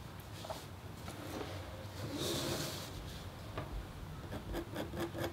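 A metal-tipped stylus with a red handle scratches across a thin, solid, flat copper-foil scratch art board coated in black, lying on a table partly under a white sheet of white paper. Continuous soft scraping and rasping is heard, with faint low rumble and brief brighter scratchy streaks that swell to a louder stretch in the middle.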